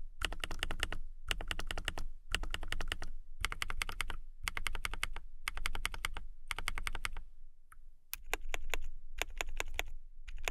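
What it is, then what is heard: Acrylic mechanical keyboard being typed on. A transparent acrylic mechanical keyboard with clear plastic keycaps is typed on with fingertips and long nails. Bursts of rapid, crisp clicking come in steady runs separated by short pauses. Each keystroke is short and bright with a low thump underneath, and the typing turns sparser and more scattered near the end.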